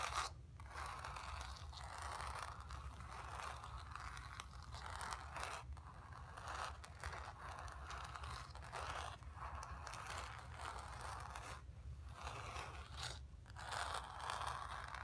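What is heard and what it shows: Long nails scratch across the surface of a painted, stretched canvas. A steady, dry rasping runs through the clip, centered in the midrange with a bright hiss on top, broken by a few short pauses and backed by a constant low hum.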